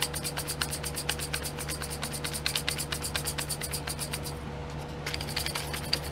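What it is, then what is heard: Plastic glitter pots tapped with nails. Long nails rapidly tap and scratch across the lids of small clear domed plastic pots full of glitter, set in a pink plastic tray. The result is a dense run of bright, crisp clicks over a steady low hum. The clicks briefly thin out into a softer scratch before resuming.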